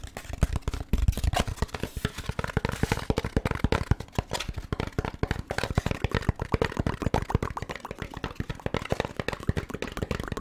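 A beige, hand-sized, thin-walled molded paper pulp takeout tray with compartments, hollow and empty, is held in one hand and tapped and scratched with the fingertips of the other while moved in front of the microphone. A steady stream of quick, dull, hollow taps with very short decay is heard, low and thumpy, mixed with soft scratchy rustling.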